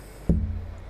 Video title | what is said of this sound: top thinning | sounds really good like very bell like